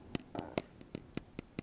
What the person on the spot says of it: it has like a slightly different sound and a totally different feeling this is a lot more soft than a glass tank